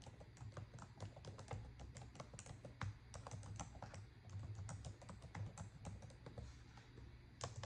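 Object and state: Plastic laptop keyboard being typed on.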